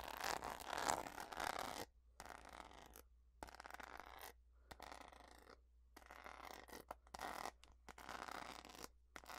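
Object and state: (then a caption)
Rhinestone-covered plastic hairbrush. Long fingernails scratch and tap across the back of a purple, rhinestone-studded plastic hairbrush held in both hands. Dry, gritty scratching comes in irregular bursts separated by brief silences, with small clicky taps mixed in.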